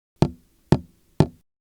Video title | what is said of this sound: Learning to See Inside Opaque Liquid Containers using Speckle Vibrometry (ICCV 2025) | tapping an off-the-shelf milk carton at different fill levels creates different sound responses